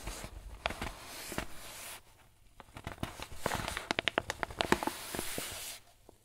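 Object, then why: Paper flour bag. Fingers and thumbs squeeze and crinkle a crumpled, filled, medium-size white paper flour bag. A soft run of papery crinkling gives way to a brief near-quiet pause. It then returns as a denser string of sharp, bright crackles before fading out.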